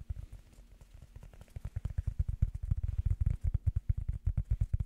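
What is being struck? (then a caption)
Rubber foam block. Fingers tap on rubber foam in quick, uneven bursts, making soft, dull, low thuds that die away almost instantly. The taps begin quiet and grow steadily louder and more distinct toward the end.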